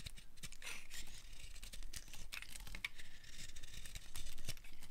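A utility knife blade carves strips from the edge of a solid, dry, pale light-green bar of soap. The result is a steady run of quiet, crisp scraping and crackling with a dense patter of short, dry ticks over a faint low rumble.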